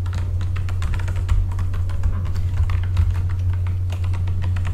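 Both hands type with their fingertips on a full-size backlit mechanical computer keyboard with plastic keycaps. The result is a rapid, continuous patter of crisp, bright key clacks that die away quickly. A steady low hum runs underneath the whole time.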